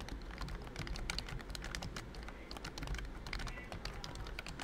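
Fingertips type quickly on a pink plastic full-size BT21 Cooky keyboard with round keycaps and a hollow body. The result is a dense stream of short, bright clicky clacks over a steady low background rumble.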